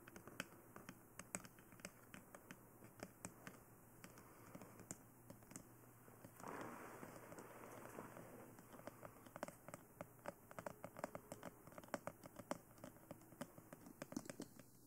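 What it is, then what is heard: Plastic dummy head microphone. Long nails tap quickly on the face and sides of a glossy black, hollow plastic dummy head microphone, making a rapid, irregular stream of sharp, dry clicks that die away almost instantly. Around the middle, a brief, denser, softer scratchy burst rises in level before the crisp tapping resumes, all over a faint, steady low hum.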